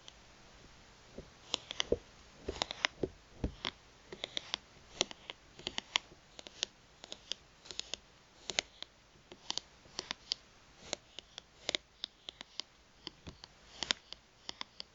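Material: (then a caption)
Plastic. Long nails tap and scratch the face and edge of a thin, solid plastic gift card held upright in the fingers. A steady stream of sharp, bright, dry clicks dies away instantly, with faint scratchy textures between them over a quiet background.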